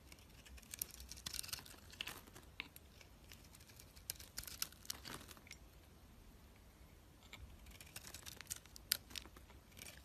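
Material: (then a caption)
Soap. A utility knife blade peels and scrapes the marbled green outer layer off a solid white bar of soap held in hand. Quiet, bright, crisp scraping and crackling strokes come in short bursts, bunched near the start, middle and end, with a soft low hum underneath.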